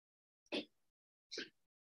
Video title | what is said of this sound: Art Lecture & Workshop with Art Tips from Liz Ndoye. This week's featured artist - Christopher Wool | You know it's cardboard if when you shake it, it rattles. Hear the sound that it makes?